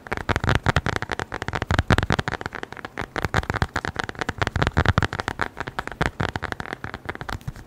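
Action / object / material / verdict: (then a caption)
tap / small flat leather wallet / leather / none. A small, flat brown leather wallet is tapped quickly with the fingertips close to the microphone. The result is a dense, irregular stream of short, soft thuds with a low, muffled body and a faint crackly edge, each fading almost instantly.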